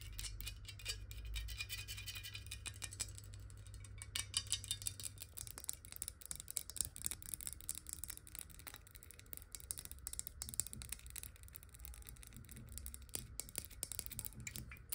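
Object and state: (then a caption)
Glass water bottle. A clear square glass water bottle is turned to show its ridged base while long nails tap quickly on the base. The taps come as rapid, uneven, bright clicks that die away almost instantly. Underneath runs a steady low hum.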